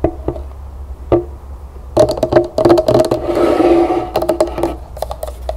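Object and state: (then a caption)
Plastic lotion bottle. Long nails tap and scratch the body of a medium white plastic lotion bottle with a pink berry label, held upright with its cap off. Quick, irregular hollow taps give off a short ringing tone, with a softer hissy scratching stretch in the middle, over a steady low hum.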